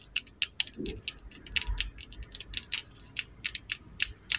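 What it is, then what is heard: Wooden lip liner pencil. A slim, solid, brown lacquered wooden lip liner pencil is held in both hands and tapped and scratched along its length by long acrylic nails decorated with rhinestones. About fifteen sharp, bright, dry clicks ring out with almost no ring, over a faint low scratching rustle.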